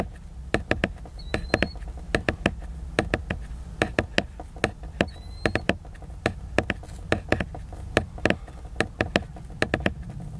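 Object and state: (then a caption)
Tapping on a cardboard hardcover book. Fingertips tap and knock rapidly on the cover of a large, solid, flat hardcover book made of glossy laminated cardboard. About 36 short, dry knocks land in an uneven rhythm, each cut off almost instantly, over a low background hum. Two faint, brief high squeaks are heard among the knocks.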